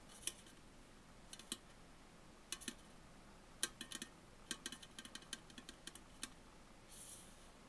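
Fingernails tap on the side and top of an upright Tully's aluminum coffee bottle can, making about twenty quiet, sharp, bright clicks in an irregular rhythm, each dying away almost instantly. A soft, brief hiss of high noise follows near the end.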